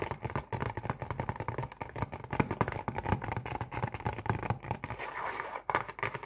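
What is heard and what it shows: Long painted nails tap rapidly on the face of a printed cardboard Oreo cookie box, hollow and holding cookies. The result is a dense stream of quick, dull, low-pitched clicks with some scratchy scraping, briefly easing into a softer rustle near the end.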